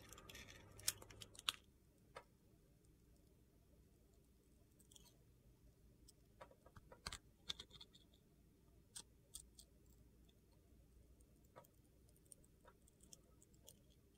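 A utility knife blade scrapes and slices thin layers off the surface of a handheld solid yellow bar of soap with blue glitter. The sound is quiet, with irregular, bright, crisp scrapes and sharp clicks that die away almost instantly over a low, steady background hum.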